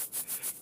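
An air purifier's charcoal filter, filled with small charcoal granules packed densely like a honeycomb, is shaken. It gives a soft, high, hissing rattle that swells and fades in repeated waves as the granules shift inside.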